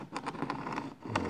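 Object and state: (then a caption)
Excess sand in model rail groove. Fingernails are run along the rail groove of a Märklin C track being ballasted with sand on a model railway, producing a series of short, gritty crunching scrapes. The crunching shows that excess sand is still on the track and must be removed for electrical contact.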